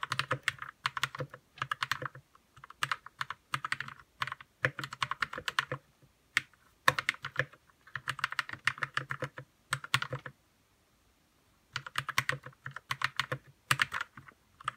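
Fingertips type fast on a white 60% RK61 mechanical keyboard with plastic keycaps and lubed red linear switches. Quick bursts of crisp clacky keystrokes carry a bright midrange click and a soft low thock underneath. Short pauses fall between bursts, with a longer silence near the end.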